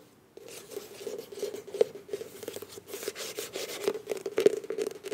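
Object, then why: Soft plastic squeeze tube. Long nails rub and scratch the front and back of a filled beige plastic face wash tube with a bronze cap. After a brief silence, a dense, crinkly scratching begins over a steady mid-pitched tone, broken by sharper clicks and louder scrapes that peak near the end.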